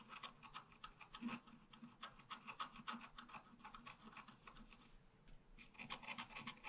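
A wooden stylus scratches flower and trunk details into a thin scratch art paper sheet lying flat. Quick, irregular strokes make a dry, bright rasping that rises and falls in short bursts, with a faint low hum underneath throughout.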